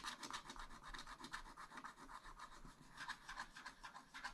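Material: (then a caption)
Wax-coated paper. A wooden stylus scrapes a black wax-coated scratch-art sheet in a spiral-bound pad, filling in a yellow area. The result is a quiet, fast, uneven run of dry, raspy scratching strokes with a bright, papery hiss and little low end.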